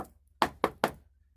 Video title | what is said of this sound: Inspecting a RV or Camper before you buy or repair it | You see, hear it? Nice solid.